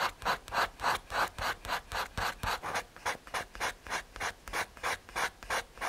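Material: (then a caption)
Paper, MDF. A paper blending stump is rubbed back and forth over a graphite drawing on a small, flat, solid brown MDF/hardboard drawing board. About 24 quick, dry, papery swishes come in a steady rhythm, each centred on a mid-high hiss around 1.6 kHz with a bright edge. The strokes are short and soft, with almost no low end and very little ring.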